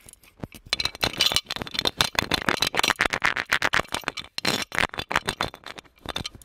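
An ornate, palm-sized, gold-colored metal genie lamp, hollow with a lid and a chain, is held in the hands and tapped and scratched with fingertips and nails. It gives a rapid run of bright, short metallic clicks and scrapes with very little low end. Each tap dies away almost at once.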